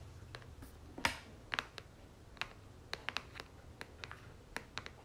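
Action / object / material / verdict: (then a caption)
tap / soft plastic lotion tube / soft plastic / none. Long natural nails tap and scratch the flat face of a red and gold soft plastic 236 ml Victoria's Secret lotion tube, held upright in one hand. About fifteen short, bright clicks and ticks with brief scratchy scrapes stand out over a quiet background, each dying away almost at once.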